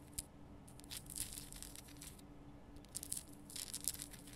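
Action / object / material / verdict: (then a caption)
scrape / rock salt lamp / rock salt / none. Long nails scratch and tap over the rough surface of a large, lit, pink Himalayan rock salt lamp, a solid salt crystal, working from both sides. Bright, gritty scratching comes in uneven bursts, with sharp little taps mixed in over a faint steady low hum.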